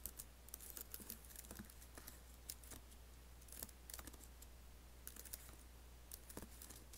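Fingertips type on the black plastic keys and space bar of an Apple laptop keyboard with an aluminium body. Quiet, quick, bright clicks and taps come in irregular bursts over a steady low hum.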